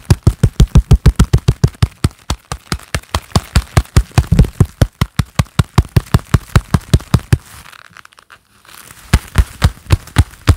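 A pair of black leather gloves worn on both hands claps and presses palm to palm in a fast, steady run of about 52 sharp, dull slaps, deep and muffled with very short decay. The clapping stops briefly near the eight-second mark, leaving a faint rustle before it resumes for the final few claps.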